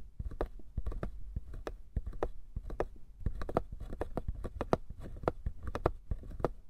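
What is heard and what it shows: A small hollow wooden box is held between both hands while fingertips and nails quickly tap and scratch its sides and lid edges. The result is a rapid, irregular stream of short, dry clicks and taps with a soft low body and almost no ring.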